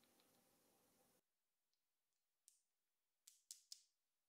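Several small, solid, gold-colored Varta AAA alkaline batteries with metal casings are held between fingertips with long pink nails and clicked and rubbed against each other. A steady, soft rubbing hiss fills the first second, then it drops to near silence with faint ticks. Four sharp, bright metallic clicks follow, each dying away almost instantly, with almost no low end.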